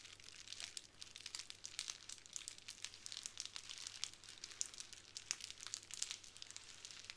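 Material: Plastic.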